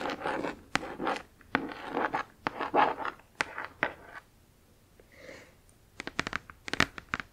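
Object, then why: Cardboard box scratched and tapped with fingernails. Long acrylic nails tap and scratch across the front lid of a flat, printed cardboard Spirograph box that is lying on fabric, hollow with its contents inside. Dry, papery scratching strokes mix with sharp, quick taps, then a short quiet stretch with a faint rustle. The clip ends on a run of crisp, bright nail taps.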